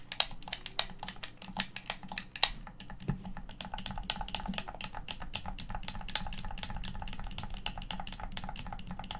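Fingertips and thumbs tap and press the face buttons of a hollow, hand-sized black plastic Xbox One controller. A quick, steady run of sharp, bright plastic clicks dies away almost instantly, over a low, constant rumble. The clicks grow denser and more even toward the end.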